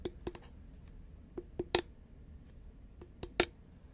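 A tall green Pringles crisp can, a hollow composite cardboard tube with a plastic lid, held upright and tilted, is tapped with long manicured nails. Sharp, dry clicks with a hollow mid-pitched resonance sound at an irregular pace over a quiet background, with the strongest taps near the middle and end.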